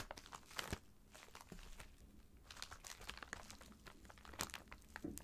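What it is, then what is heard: Plastic mailer bag, crinkling. A filled white plastic poly mailer bag lies flat while both hands tap, scratch and rub it with fingertips and nails. The result is a quiet, continuous stream of dry crinkling and crackling, with short bright clicks and taps scattered throughout.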